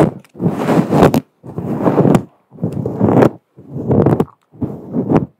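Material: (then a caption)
Synthetic fur. Long acrylic nails scratch and rub the surface of a fluffy grey-white faux fur microphone windscreen, a soft, hollow synthetic fur cover. Five separate bursts of dense, close-up rustling scrape are heard, each about a second long with brief silences between, and several end in bright little ticks.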